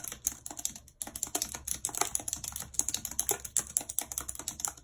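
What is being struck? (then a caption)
Plastic computer keyboard keys. Long red acrylic nails type rapidly on a full-size white plastic computer keyboard with a numpad and hollow keys, lying on a world map. About 34 quick, bright plastic clicks and taps clatter in an uneven stream with almost no low end, pausing briefly near the one-second mark. Each click stops almost instantly.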